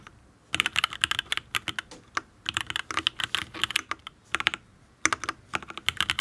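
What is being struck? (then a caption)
Mechanical keyboard, aluminium case with ABS keycaps. Fingertips type on a full-size custom Matrix Ablex Penpen mechanical keyboard with an aluminium case, ABS keycaps and Tealios V2 linear switches. Quick bursts of crisp, bright, clacky keystrokes come in fast runs, with short pauses between them. Each keystroke is dry and dies away almost at once, with very little low thump.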